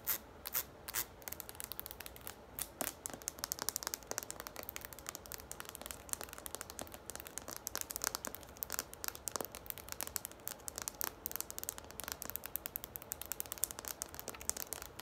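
Long fingernails rapidly tap and scratch the flat plastic base of a green hollow plastic shampoo or conditioner bottle held bottom-up. The result is a quiet, continuous stream of crisp, bright clicks and dry scratchy crackles that stop instantly with no ring.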